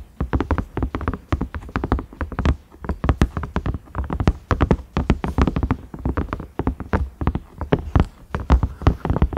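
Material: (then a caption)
Silicone. Fingernails tap and scratch the ridges of a large cream ridged silicone microwave lid with a round knob. Rapid, uneven taps land as dull, low thuds with short clicky tops that die away almost at once, mixed with faint scratching between them.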